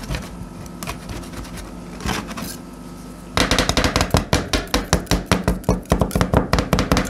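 Two metal spatulas with yellow-and-black handles, held in black-gloved hands, chop and scrape a thin, partly frozen layer of milky blueberry cream with whole blueberries on a stainless steel ice-roll cold plate. For the first few seconds there is quieter scraping with a couple of brighter bursts. A fast, fairly steady run of sharp, solid metal-on-metal chops follows, each dying away quickly.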